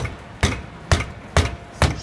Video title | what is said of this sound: Устраняю стук в подвеске ремонт суппорта Outlander XL | обнаружили вот проблему, то есть бренчание суппорта